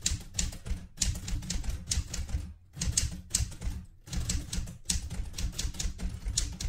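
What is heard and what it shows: Fingertips with red painted nails type continuously on the round keys of a vintage light blue portable manual typewriter with a metal body and paper loaded. Rapid, crisp clacks with bright metallic tops and a thumping low body come in quick runs, broken by a few short pauses.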